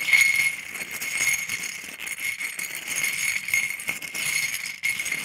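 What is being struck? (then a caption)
Small scallop seashells on a ceramic plate, stirred with a wooden stick. About a dozen small, thin, hollow calcium scallop shells on a white ceramic plate are stirred and tapped with a wooden stick, so they clatter together. The result is a steady, bright, jingling rattle, with a thin ringing tone around 2.2 kHz and almost no low end.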